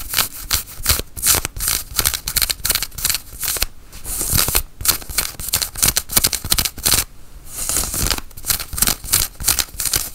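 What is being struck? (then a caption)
Cotton flannel shirt sleeve. Long nails scratch the sleeve of a worn, dark grey cotton flannel shirt. The result is quick, irregular bursts of bright, dry scratching with short pauses between strokes. Each scrape stops dead with no ring.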